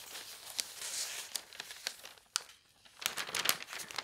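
An open paper newspaper spread on a bed is handled as fingertips flatten and rub the pages and lift their edges. The result is bright, dry crinkling and rustling with sharp papery snaps and a brief quieter lull in the middle.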